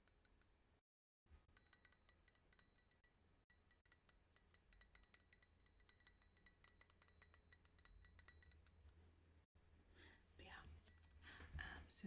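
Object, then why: Hammered copper bar jigger. A hammered copper bar jigger is clinked and tapped in a quick, uneven series of light metallic hits, with bright, bell-like high clinks over a low steady hum. The tapping pauses briefly near the start, then continues, with softer rustling toward the end.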